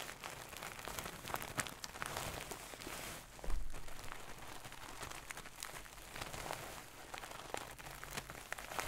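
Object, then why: Stuffed pillow with satin cover. Long nails scratch and rub across a medium-soft stuffed pillow with a gold satin cover, making a quiet, steady hiss of fabric scratches and soft crinkly rustling. A brief, fuller muffled thump rises out of the texture around the middle before the gentle scratching continues to the end.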